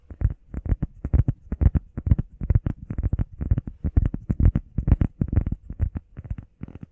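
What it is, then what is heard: Foam workout pad. A heart-shaped, grey, textured foam workout pad, about hand-sized, flat and solid, is held in both hands and fast-tapped and scratched with the fingertips and medium painted nails. The result is a rapid, uneven patter of soft, dull, low thuds in quick clusters, each dying away almost instantly with no ring.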